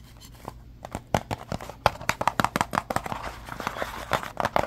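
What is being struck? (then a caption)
Small cardboard box. Fingernails scratch and tap the flat sides of a small, hollow, blue and red printed cardboard box held in the hand. A fast, uneven run of dry, crisp taps mixes with papery scratching rasps, each tap dying away almost at once. The sound is mid-pitched and close, with little low end.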